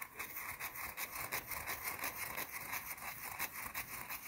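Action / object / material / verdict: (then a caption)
scrape / solid bar of soap / soap / none. Long blue nails scratch quickly across a small, round, solid white soap bar. The result is a quiet, bright, dry rasping made of rapid, fairly regular strokes, with little low end.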